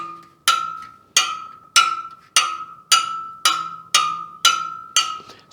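Ten taps on the carbon spokes of a Superteam All Carbon EVO front wheel each give a short, bright ping ringing at about 1.3 kHz, decaying quickly. The pitch shifts slightly from spoke to spoke, showing slightly uneven spoke tension that is still acceptable.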